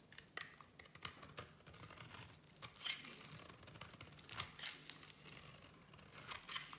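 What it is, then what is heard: Bar of soap shaved with a blade. A solid black and white striped bar of soap is shaved with a small metal blade, producing crumbly flakes. Quick, dry scraping and crackling strokes come in a busy, uneven stream, mostly bright and high with little low end. Each short stroke dies away almost at once.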